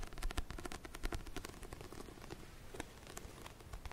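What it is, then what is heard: Paperback book cover. Fingernails tap and scratch the matte cream back cover of a paperback book held upright, giving a quiet, dense run of short crackling taps and scrapes. The strokes are dry and clipped with almost no ring, and their weight sits low, with a faint bright edge on each tap.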